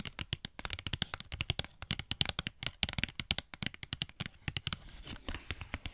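A Pritt Patafix cardboard and plastic blister pack is held close to the mic and tapped rapidly with long nails. About forty quick, crisp clicks come in an uneven stream, bright and sharp with a light hollow thump underneath. Each tap dies away almost instantly.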